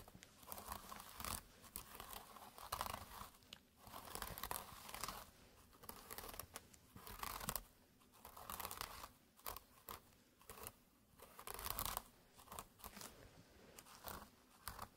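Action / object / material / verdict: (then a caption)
scrape / jute burlap pouch / jute / none. Fingertips in fingerless gloves scratch and rub the coarse weave of a small, flat jute burlap drawstring pouch with a red string, lying on a textured mat beside a second, untouched identical pouch. The result is dry, rasping, crinkly bursts of scratching with a midrange emphasis around 1 kHz and a bright hiss, coming in irregular waves with short quiet gaps between them.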